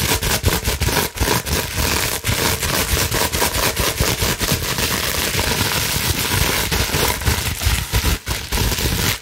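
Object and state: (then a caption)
Plastic bubble wrap sheet. A clear plastic bubble wrap sheet, partly folded, is scratched quickly with long nails running over the bubbles. The result is a dense, continuous crackling scratch with a low rumble underneath and bright hiss on top. It is broken by brief dips and sharp pops.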